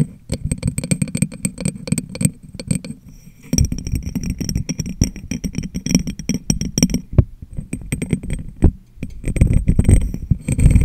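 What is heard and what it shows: Fingertips and long nails rapidly tap the top and sides of a medium, clear, hollow, empty glass jar turned upside down over a microphone. The taps land as dense, dull, low thumps with short, bright clicks on top, and little ring after each hit. There are brief lulls near 3 and 8.7 seconds before the tapping picks back up.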